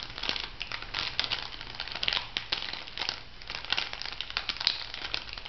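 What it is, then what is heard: Plastic foil sachet crinkled and scratched. A small, flat, pink printed plastic-foil bath-salt sachet, filled, is crinkled and scratched with long nails. Dense, bright crinkling and crackling comes in quick overlapping bursts with sharp peaks. Most of the energy sits in the high range, with little low end.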